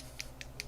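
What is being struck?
Plastic paint dropper bottle with a mixing ball.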